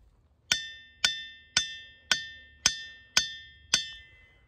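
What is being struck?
Diabase boulder struck with a steel hammer.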